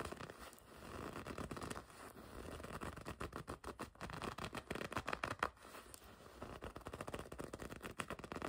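Long red nails scratch and scrape across the smooth front of a black and red leather racing jacket. The result is a dense run of quiet, dry rasps and crackly scuffs in the mid range, overlapping too closely to separate into individual strokes.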